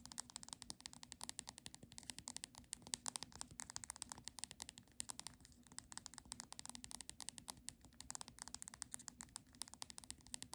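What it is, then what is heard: Paperback book spine tapped with nails. Long nails tap rapidly and steadily on the spine of the same Monet paperback book. The quiet, bright, dry clicks stop instantly with no ring, over a faint low hum.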